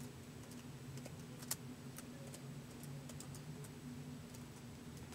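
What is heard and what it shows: Fingertips tap slowly on the white plastic keys of a laptop keyboard, producing soft, bright, short clicks spaced irregularly, with one sharper tap standing out. A steady low hum sits underneath the quiet typing throughout.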